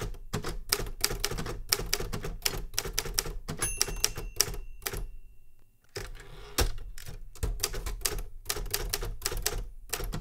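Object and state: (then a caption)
Metal manual typewriter. Fingertips type on the keys of a Remington Super Riter metal manual typewriter, producing rapid, crisp mechanical clacks with bright, snappy strikes over a low thump. Around the middle, a faint thin tone lingers briefly under the keystrokes, then the typing stops for a short quiet pause near six seconds before resuming at the same steady pace.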